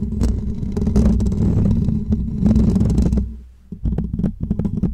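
Short natural fingernails of both hands scratch the top and sides of a hollow woven metal mesh microphone grille. The result is a dense, close, low rumbling scrape with a steady hum around 220 Hz and sharp clicky strokes. It dips almost to silence near the middle, then returns as quicker, choppier scratches.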